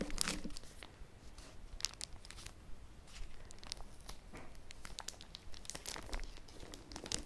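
Fingertips with short nails tap and scratch across the hard cardboard cover of a large, flat Animal Crossing amiibo card collector's album that is still sealed in a clear, crinkly plastic bag and lying on a red surface. The result is a steady stream of soft, bright plastic crinkles and scratchy rustles over a low, quiet background, with sharper crackling bursts scattered throughout.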